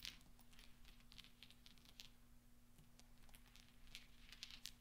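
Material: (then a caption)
Steel. A pile of small solid steel pachinko balls resting on black velvet is stirred and clinked by fingertips and nails. Quiet, bright metallic ticks and light clicks scatter throughout over a steady low hum, with a few sharper clinks near the start and end.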